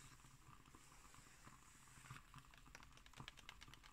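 Long nails tap and scratch on the illustrated left-hand page of an open magazine with glossy pages. Soft scratching rasps over a low, quiet hum, then crisp, bright, dry taps come quicker and sharper in the second half.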